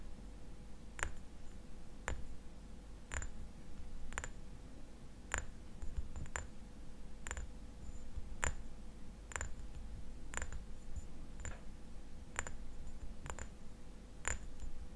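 Fingernails tap and scratch a small, hollow amber glass bottle with a white paper label, held sideways in both hands, tapping both the glass and the label. Sharp, bright clicks land at a roughly steady pace of about one per second, each dying away almost at once. Underneath runs a constant low hum with a faint steady tone near 500 Hz.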